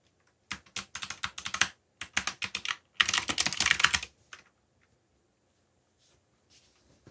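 Fingertips type on a backlit black plastic mechanical keyboard, producing quick bright clacking keystrokes in three rapid bursts separated by short pauses, the last burst the densest and loudest. A single stray keystroke follows, then near silence with a few faint taps at the end.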